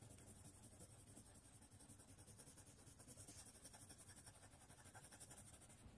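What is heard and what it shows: A blue colored pencil rubs and scratches across a thin white paper sheet, held flat by one hand on a wooden tray, while shading. The result is a soft, steady, pulsing scratch with a faint bright hiss throughout, ending in a brief sharper tap.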